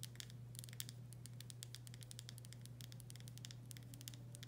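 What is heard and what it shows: Long nails tap and scratch across the body of a full glass pickle jar with a paper label. A rapid, irregular run of quiet, bright clicks and short scratches plays over a steady low hum.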